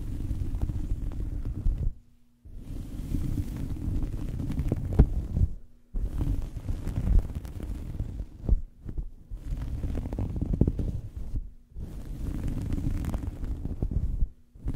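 A small fabric towel draped over a microphone is scratched and rubbed with fingernails, producing a deep, muffled, rumbling scratch that is heavy in low frequencies with almost no bright content. The scratching comes in long bursts separated by brief silent pauses.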